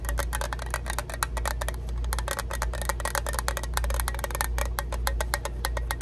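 A small, hollow Zippo lighter fluid bottle of orange-red printed plastic, held in both hands, is tapped and scratched with long acrylic nails. Quick, crisp clicks and scratchy ticks come in a dense, steady stream over a constant low hum.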